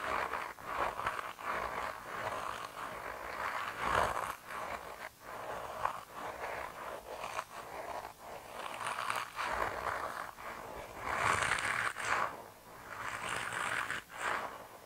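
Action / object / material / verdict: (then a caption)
scrape / soft rubber mouse toy / rubber / none. A hand-sized, grey, soft rubber mouse toy, solid and flexible, is squeezed and rubbed between thumbs and fingers. It makes repeated squishy, squeaky scraping bursts, centered in the mid range with occasional bright, hissy swells. The sound is a continuous rubbery friction with short pauses between squeezes.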